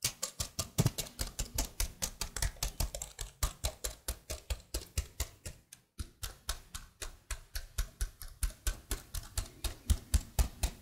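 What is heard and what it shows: A detached plastic laptop keyboard is held just above the microphone while fingertips with blue nails press, tap and rub its keys. About 53 quick, dry clicks come in a steady rhythm, each with a soft low thud under a bright plastic tick, with a brief gap near the middle.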